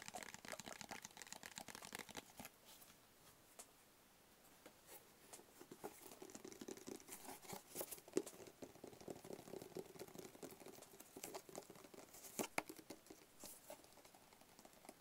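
Long fingernails tap and scratch the sides and face of a small, hollow black cardboard gift box with a white barcode label on one face. Quiet, dense, rapid tapping mixes with bright, crinkly scratching and a hollow mid-low tone, with a softer lull early on before the tapping picks up again.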